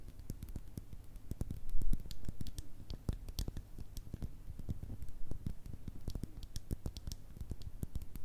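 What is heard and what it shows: Long red nails tap and scratch the sides and black top of a small, hollow, clear glass bottle. The clip is a steady stream of quick, dry taps, each with a soft low thump and a bright click, mixed with light scratching. The taps die away almost instantly.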